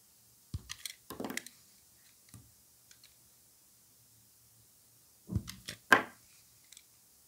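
Gloved hands shave a solid white rectangular bar of soap with embossed lettering using a utility knife blade, and thin slices come off. Short, crisp, dry scraping crackles come in two clusters, early and late, with near silence and a few faint clicks between them. Each cut is quick and bright with almost no ring.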